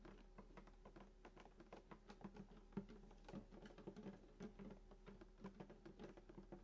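Fingertips of both hands tap rapidly on the wooden top near the bridge of a hollow sunburst acoustic guitar lying flat. The soft, quick taps give short, hollow thumps with a low body resonance and fade almost at once. They run as a steady, uneven patter throughout.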